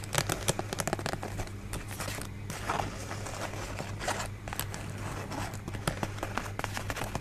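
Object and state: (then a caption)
Paper folding fan. A rainbow pleated paper folding fan with a white scalloped base, held in both hands, is rubbed and scratched along its pleats with long nails. Dense, crinkly scratching and crackling runs throughout, with many sharp, bright clicks over a steady low hum.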